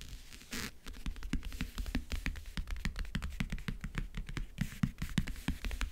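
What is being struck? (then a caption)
Closed backgammon case with printed lid. Long nails tap and scratch across the map-print lid of a closed, hollow backgammon case. A quick, steady run of dry clicks, each with a dull, hollow low thump and almost no ring, is broken by brief scratchy swipes near the start and around the four-and-a-half-second mark.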